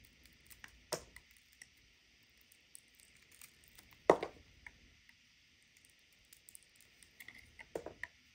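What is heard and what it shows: A hand-sized solid white bar of soap, held in a palm with long white nails, is shaved and cut with a serrated metal knife, producing flakes. Soft, quiet scraping and crunchy cuts come and go over a faint, steady high hiss, with the sharpest crackling cuts near the start, middle and end.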